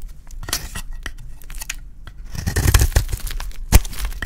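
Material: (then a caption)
Soap. A small utility blade shaves and scrapes a dry, solid, hand-sized green Safeguard soap bar held in one hand, making rapid dry rasping and crumbly tearing strokes with a low, dull body and crisp high edges. The scraping is quieter and sparser at first, then grows denser and louder after about two and a half seconds, with one sharp, loud stroke near the end.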